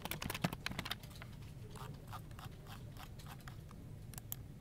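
Fingertips type rapid key presses on a dark plastic office keyboard resting on a desk, first with one hand and then with both hands. A burst of sharp, bright clicks opens the clip, then settles into a steadier patter of softer, quick taps over a low background hum.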